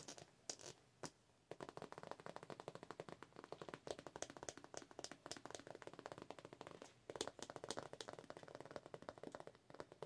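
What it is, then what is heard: Vinyl cosmetic pouch. A holographic vinyl (PVC) cosmetic pouch is tapped and scratched with long nails. A few sharp taps give way to a rapid, dense run of crinkly, bright tapping and scratching that pauses briefly before resuming.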